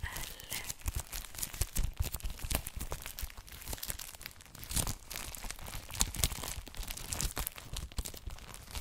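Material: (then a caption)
Plastic film. Fingertips touch, rub and tap the clear plastic cellophane sealing an A4-size ELLE paper magazine, making the wrap crinkle. A steady stream of quiet, dry crackles and bright, sharp ticks is heard over soft, low thumps from the taps. Each sound stops almost instantly, with no ring.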